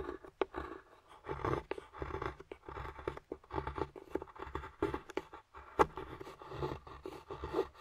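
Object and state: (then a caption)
Dark chocolate bar being scraped. A metal carving tool scrapes curls off the surface of a flat, solid dark chocolate bar. The result is a quiet series of short, dry scraping strokes in the mid range, broken by a few sharp clicks.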